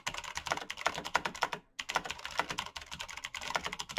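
Fingertips of both hands type fast on a black mechanical computer keyboard with plastic keycaps and clicky switches. A dense run of sharp, bright clicks with a brief pause near the middle, each click dying away almost instantly.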